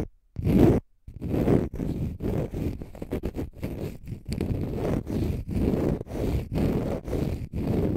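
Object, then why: Konjac fiber facial sponge. A palm-sized, pale green konjac fiber facial sponge, solid and porous, is scratched with fingernails. It makes dense, low, rumbling scratches in a quick, uneven series of strokes, each separated by brief gaps.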